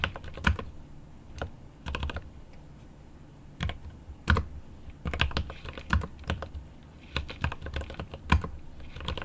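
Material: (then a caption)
Plastic. Both hands type with their fingertips on a 75% mechanical keyboard with plastic keycaps and an aluminum case, making rapid key taps. The keys give short, sharp clicks with a deep low thock, arriving in quick bursts and clusters with brief pauses between them.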